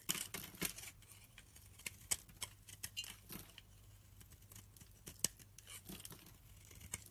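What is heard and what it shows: A snap-off utility knife blade scrapes and slices fluffy shavings from a hand-held, solid, light-green oval soap bar. The sound is a quiet run of short, bright, crisp scraping and cutting strokes with sharp high clicks between them, over a low steady hum.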